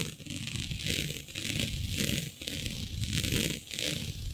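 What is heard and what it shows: Long nails scratch and gather a flat sheet of black synthetic stretch fabric with a shiny dotted pattern. The result is a steady, bright, crinkly scratching that swells and fades in repeated waves over a soft, low rumble.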